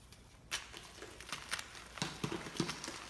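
Bare fingertips and palms squeeze and crumble a chunk of BSN gym chalk (magnesium carbonate), taken from large, powder-covered white solid blocks resting on a dark surface, into powder. The result is a series of soft, dry, bright crunches and crackles. Each breaks off quickly against a quiet background as the chalk grinds down into the same pile.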